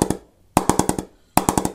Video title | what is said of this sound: B3 Custom Shape 23 Review | Going really well right there on the driving area.